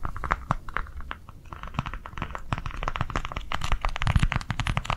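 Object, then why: Small plastic cardholder book. A small white plastic cardholder book held in the hands is tapped rapidly with long nails. The result is a fast, continuous stream of short, dry clicks and crinkly taps with a low, soft body beneath them.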